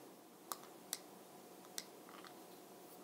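A brown glossy plastic Bronze Booster makeup jar lid, on a small hollow jar with beads inside, is tapped with fingernails on the top and side. Four sharp, bright clicks stand out with fainter ticks between them over a quiet hiss, each dying away almost instantly.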